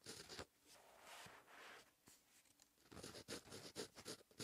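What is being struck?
Paper notebook page under a ballpoint pen.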